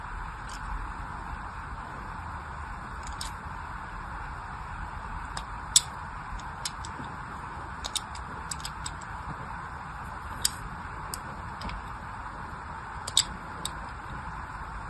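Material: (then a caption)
Soap. A small black blade tip scratches and scores parallel lines along the edge of a palm-sized solid orange soap bar held in one hand. Brief, bright scraping ticks and crisp clicks come at irregular intervals over a steady, quiet hiss and low rumble.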